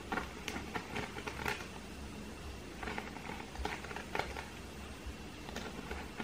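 A round, flat woven seagrass coaster, thin and solid, is held in both hands and scratched with fingernails. Scattered dry, bright scratches and crackles pop out over a steady low hum and faint rustling. The scratching comes in short bursts with quick decay and no ringing.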